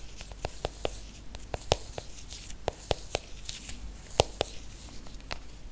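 Fingernails tap and scratch the aluminium back and edges of a silver iPhone, tilted and held close. About fourteen short, dry, bright clicks land at an irregular pace, each dying instantly with no ring. A faint scratchy rasp fills the gaps between them.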